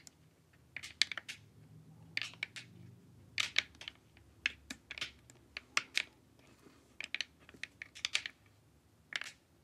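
Long nails tap along the edges and forehead of a glossy, hollow plastic LED face mask. The result is quick, bright plastic clicks in irregular clusters, each dying away almost instantly over a quiet background.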